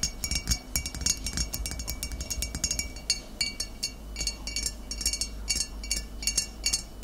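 Long nails tap the body and shoulder of a full, upright glass bottle of cider vinegar in a quick, irregular series. Each tap gives a bright, glassy clink with a short ring that fades almost at once, heard over a faint, steady low hum.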